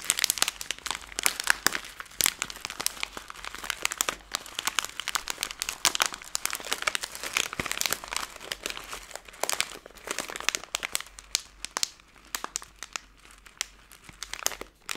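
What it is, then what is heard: Plastic candy bag. A hand-sized Skittles candy bag made of plastic film is crumpled and squeezed between the fingers to make it crinkle. The result is a steady run of dense, sharp, bright crackles and crinkles with almost no low end, each snap dying away instantly.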